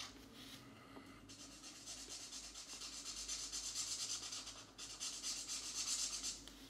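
A grey felt-tip marker makes small rubbing strokes on a paper mandala page of a coloring book resting on a stack of pages. The result is a soft, bright, hissy scratching in quick back-and-forth strokes, with a brief pause before the rubbing resumes.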